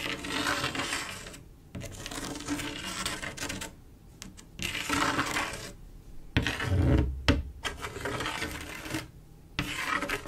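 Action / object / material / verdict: scrape / glass mosaic tile panel with grout / glass / none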